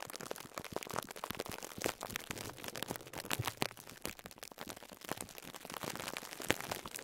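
Fingertips squeeze a small foam sponge wrapped in plastic cling film, producing a dense run of crisp crinkles and crackles. The quiet, bright texture has many sharp snaps spread through the clip and almost no low rumble.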